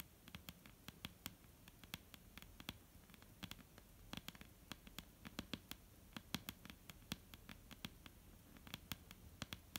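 Long painted nails of both hands tap on a solid, dark brown wooden table top in a quiet, irregular patter. Each tap is a short, dry click with a bright edge and a soft low knock beneath it, dying away almost at once over a faint steady hiss.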